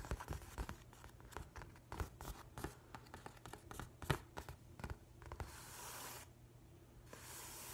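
Fingernails and fingertips scratch and trace across the paper cover of a large, flat hardcover book with a printed nautilus cover. A series of quick, dry scratching taps gives way to steadier, hissy strokes of tracing across the surface.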